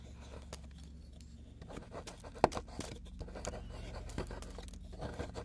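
Two metal tools scrape and chip at a solid plaster excavation block with a dark fossil piece partly exposed, resting on a wooden board. Quiet, dry scratching and short crumbly ticks sound over a steady low hum, with one sharper chip standing out midway as crumbs fall onto the board.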